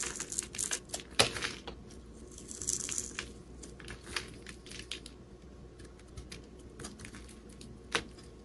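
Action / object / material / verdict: scrape / bar of soap scraped with a metal blade / soap / none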